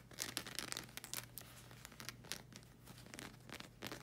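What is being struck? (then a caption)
Rubber slide sandal sole. Long red acrylic nails scratch and tap on the solid black rubber sole of a slide sandal, producing quiet, bright, crackly scratching with short clicking taps in dense bursts. A steady low hum sits underneath the whole time.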